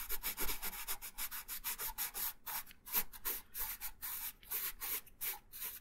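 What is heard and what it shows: A wooden colored pencil held in the right hand rubs colour onto a thin printed paper coloring sheet lying flat on a wooden table, in steady back-and-forth strokes. Each stroke makes a dry, scratchy rub with a bright papery hiss, repeating quickly at about three strokes per second in a slightly uneven rhythm, with a faint low rumble underneath.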